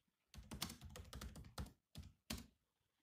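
Fingertips of both hands type on a grey laptop keyboard with black plastic chiclet keys. A quick run of soft, clicky taps with a low thud under each press is followed by a pause and a few separate presses, the last two standing apart.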